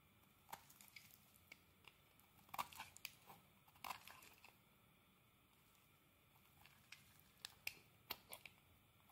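A utility blade scrapes thin shavings off a solid green soap bar held in the hand. Short, dry, crackly scrapes and crisp crunches come in quick bursts, bright and with almost no low end, over a quiet background. They fall silent for a few seconds in the middle before the scraping resumes.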